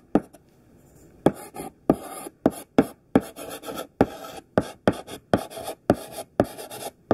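Thick, solid pink sidewalk chalk writes text on a black chalkboard in a quick series of short, scratchy strokes. Each stroke opens with a sharp tap and a bright, rasping scrape, with brief near-silent pauses between them.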